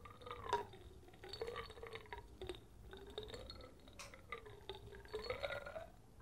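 A small glass jar with a polka-dot metal lid, full of amber liquid and flakes, is held in one hand, tilted and shaken while the fingertips touch the glass. Quiet, gurgling sloshes of liquid mix with soft glassy clinks and light taps that rise and fall in short bursts.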